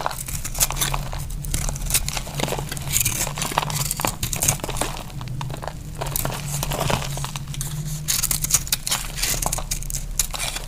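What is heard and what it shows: A knife shaves brittle flakes off a solid, dry pink bar of soap held in the hand. Continuous crisp, crackly scraping and crumbling with bright, dense texture rides over a steady low hum.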